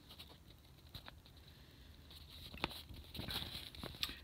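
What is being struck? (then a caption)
Old newsprint newspaper page. Bare fingertips and hands grip, flex and fold a thin, aged 1929 newsprint newspaper, a large page with a "Boost Your Bank Account" ad, held over carpet. Quiet, bright rustling and soft crinkling build through the clip, broken by a few sharp, dry crackles that stop at once.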